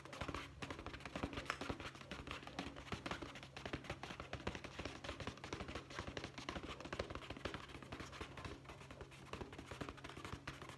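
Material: Leather.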